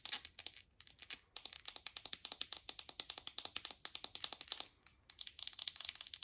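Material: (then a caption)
Glass. Long acrylic nails tap and scratch a small, hollow amber glass supplement or oil bottle with a white label and a black cap. The clip is a rapid, uneven run of about 43 sharp, bright clicks with almost no low end. Brief pauses come near 0.8 and 5 seconds, and the final second carries a faint high ringing tone under the scratching.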